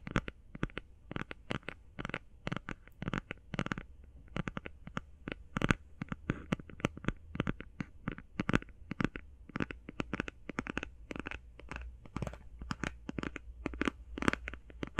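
A closed, flat cardboard eyeshadow palette is held in one hand and tapped and scratched with the fingernails of the other hand. The result is a rapid, continuous run of short, dry, crisp clicks with faint scratching between them, over a low steady hum.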